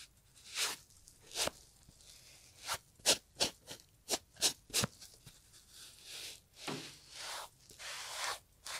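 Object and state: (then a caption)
Leather loafer being scrubbed. A gloved hand scrubs the leather upper of a brown Italian leather loafer with cream textile panels, hollow with a shoe tree inside, using a green and yellow sponge. A run of short, bright, scratchy crunching strokes gives way to longer, softer hissing rubs.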